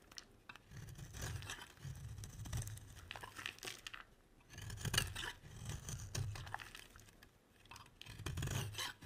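A metal utility blade shaves and scrapes a solid, round, red-striped soap bar. Dry, crumbly scraping strokes come in uneven bursts, each with a soft low rumble under a bright, rasping texture, separated by brief quiet pauses.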